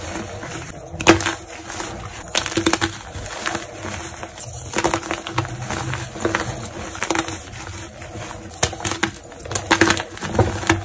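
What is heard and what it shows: Small solid white gym chalk blocks of magnesium carbonate, with no wrapper or glitter, are held in both hands over a bed of chalk powder while painted-nail fingertips squeeze and break them into chunks. Dry, crisp crunches and sharp snaps come in irregular bursts with bright, quick-fading cracks. A faint steady hum runs underneath.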